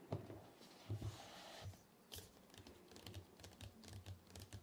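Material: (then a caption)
Cardboard. Fingertips of both hands tap quickly, like typing, on the lid of a large, flat, white printed cardboard MacBook Pro 14-inch retail box, closed with the laptop inside and lying on a dark surface. Quiet, irregular soft taps with a dull, low hollow thump, plus a brief faint brushing hiss near the start.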